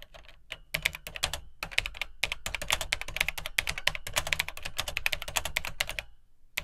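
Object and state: Plastic computer keyboard being typed on.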